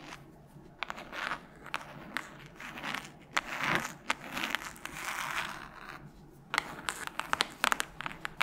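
Long nails tap and scratch across the cover of a solid red hardcover book held up in front. Sharp, bright clicks land between soft, crinkly scratching swells, with a busier run of quick taps near the end.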